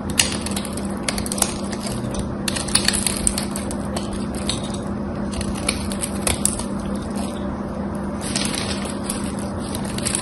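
A small knife blade shaves and carves a hand-sized, gold-coated solid bar of dry soap held in one hand with long white nails, and the crumbs fall onto the table. Dense, crisp crackling and scraping runs steadily throughout, with bright brittle snaps standing out now and then over a low, constant hum.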